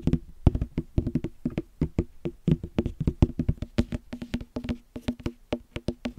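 A small, solid, full whole green watermelon is tapped and knocked with fingertips and knuckles close to the mic. About 35 quick, hollow, dull thumps follow one another in an uneven rhythm. Each has a low, woody body and a very short ring that dies away almost at once.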